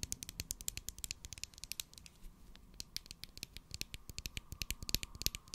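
Long acrylic nails tap and scratch a large white plastic Pritt glue stick, with its cap on, held in a hand. About forty quick, bright plastic clicks and short scratches come in a quiet, uneven stream. Each click ends almost instantly, with a faint low rumble underneath.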